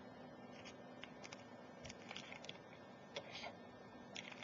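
Very long, pointed, glittery nails tap and scratch along the body of a cylindrical glass Ajmal Shadow perfume bottle, full of amber liquid, with a metal cap and collar, lying on its side on a laptop keyboard. The result is quiet, bright, irregular clicks and short scratches, each fading quickly over a steady low hiss.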